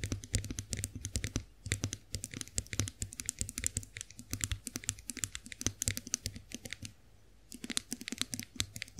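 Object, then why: Chrome-finished face roller. Long nails tap quickly on the smooth handle of a chrome-finished face roller, making a steady stream of bright, dry clicks with almost no ring. The tapping runs in rapid bursts with a low hum underneath, pauses briefly near the end, then resumes.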